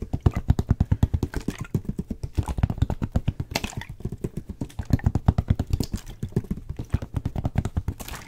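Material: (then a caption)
Plastic. Fingertips and nails tap quickly around the blue cap and neck of a clear plastic water bottle with a white label, held in the hand. About sixty short, dull taps come in a fast, steady stream, each a low hollow knock that stops almost at once.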